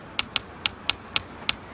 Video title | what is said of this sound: Bill Nye the Science Guy S01E12 Sound | you can hear the tapping through the bricks